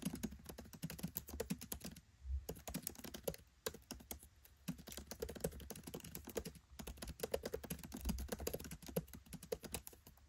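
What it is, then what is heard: Laptop keyboard, plastic keys. Fingertips type on a MacBook Pro 13 keyboard with black plastic keycaps set in an aluminium body. Quick, short, clicky key taps come in dense bursts, with brief pauses near 2, 4.5 and 7 seconds. A steady low hum runs underneath.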